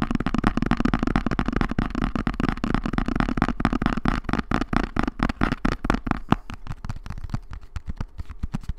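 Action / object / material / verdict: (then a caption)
tap / small cardboard box / cardboard / none. A small, hollow brown kraft cardboard box is held in both hands and tapped quickly with long nails. The dry, clicky taps carry a hollow, low body and come in a dense, uneven flurry. They thin out into sparser, more separate taps toward the end.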